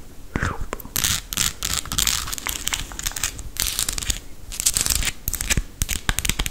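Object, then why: Small painted wooden toy ice cream cone. Long acrylic nails tap and scratch the textured scoop and cone of a small, solid, painted wooden ice cream cone toy held in the hand. Bursts of bright, crackly scratching alternate with quick, sharp clicking taps.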